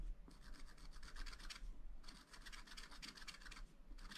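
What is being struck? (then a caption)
Coated scratch-art paper scratched with a wooden stylus. A wooden stylus scratches lines into the black coated sheet of a scratch-art paper pad, making bursts of quick, dry, bright scratching strokes separated by short pauses. A steady low hum runs underneath throughout.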